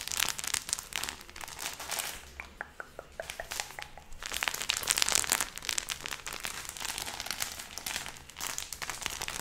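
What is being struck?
Stack of paper banknotes.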